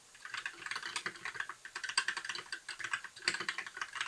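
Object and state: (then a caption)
Plastic mechanical keyboard. Both hands type steadily with their fingertips on a compact, white, backlit plastic mechanical keyboard with a hollow case. It makes a fast, uneven stream of crisp, clacky key taps. Each tap is bright, with a midrange click, almost no low end, and it dies away almost at once.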